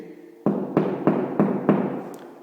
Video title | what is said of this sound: Expliquation pour pas te faire avoir quand tu Lou ou tu achete ton appartement. | ça sonne creux donc ça semble isolé